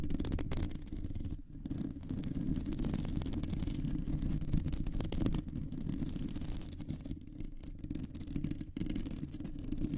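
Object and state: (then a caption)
Metal microphone mesh grille scratched with nails. Long nails scratch a round, hollow metal mesh microphone grille, producing a dense, continuous scraping rumble. The sound is concentrated in the low range, with rapid grainy strokes and a few brief pauses.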